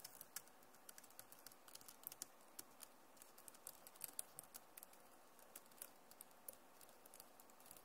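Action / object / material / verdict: tap / plastic laptop keyboard / plastic / none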